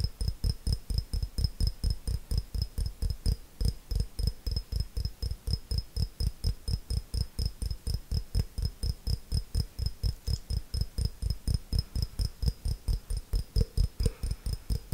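Long fingernails tap and scratch a small, clear, hollow glass jar in a fast, steady stream of about 67 taps. Each tap gives a short, deep thud with a faint, bright glassy ring above it, dying away almost at once.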